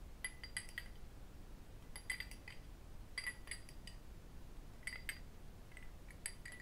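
An empty small cut crystal glass whisky tumbler, held in the hands, is tapped and clinked with fingertips and metal rings. Bright, glassy clinks with a clear tone around 2 kHz and high overtones come in quick clusters spread across the clip. Each ring dies away fast over a quiet, low background hum.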